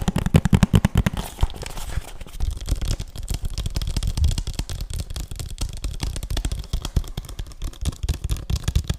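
A hollow plastic PS3 game case, held flat and tilted, is tapped quickly with fingertips and nails on its faces and edges. A louder burst of taps in the first second gives way to steady, rapid, dry tapping. Each tap is a short, muffled knock, mostly low in tone, that stops almost instantly.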